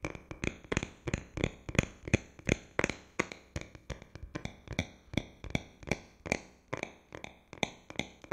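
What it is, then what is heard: Smartphone tapped with fingertips and nails. A handheld rose-gold smartphone of metal and glass, flat, thin and solid, is held close to the microphone and tapped with the fingertips and short nails of both hands. About thirty quick, dry taps land in an uneven, rolling rhythm, each a short low thump with a bright clicking edge that dies away almost at once.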